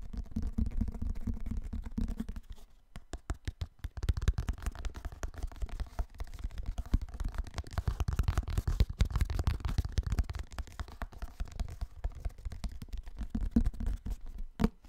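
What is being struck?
Hardcover book with cardboard covers.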